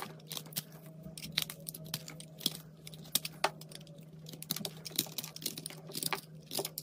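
A knife blade scrapes across the surface of a solid pink and white soap chunk held in the hand, producing a rapid series of crisp, bright scraping and crinkling clicks. A steady low hum runs underneath throughout.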